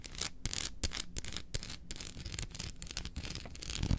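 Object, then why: Dark chocolate bar on foil wrapper. Long acrylic nails tap and scratch the segments of a solid dark chocolate bar, held in one hand and resting on its foil wrapper. Fast, dry scratching brings a steady bright hiss, broken by short crisp taps with dull low thumps underneath. The sharpest tap comes near the end.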